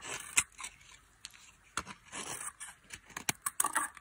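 A solid white soap bar with a blue coating, dry and held in the hand, is shaved with a metal blade so flakes fall away. Quiet, bright scraping and crisp crunching cuts come in short bursts. Sharper hits sound near the end.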